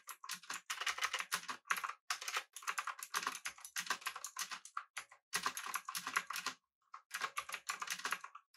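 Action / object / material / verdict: tap / mechanical keyboard with metal body and plastic keycaps / plastic, aluminium / none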